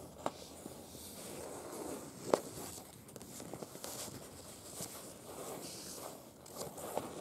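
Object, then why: Printed paper leaflet. Long, pointed acrylic nails scratch and tap a printed paper museum brochure with porcelain photos lying flat. Soft, dry scratching and papery rustle run throughout, broken by a few sharp, bright taps that stand out from the quiet texture.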